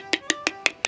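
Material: Shell.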